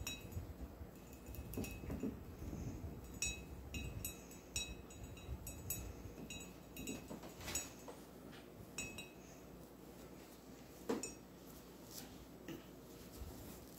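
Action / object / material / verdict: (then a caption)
tap / glass mug / glass / none. Fingertips and nails tap and clink on the wall of an empty, hollow clear glass mug with a handle and a blue dolphin print. Light, bright clinks with a short ring come at an irregular pace over a soft, low background hum, and the tapping thins out toward the end.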